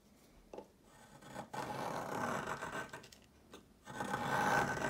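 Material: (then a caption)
Chalk. A yellow plastic peeler with a metal blade scrapes along a solid, palm-length rectangular stick of pale yellow chalk held on a marble surface, shaving off crumbly flakes. Short scratchy strokes give way to longer, louder rasping passes with a dry, mid-pitched grit and little low or bright content.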